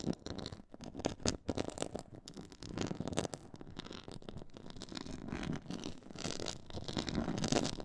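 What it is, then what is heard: Textured faux leather board. Long nails scratch across a black, stitched, pyramid-textured faux leather board. The result is a dense, continuous run of rough scraping and rasping strokes. The strokes rise and fall in loudness, with a fuller low-mid body and occasional brighter, hissy bursts.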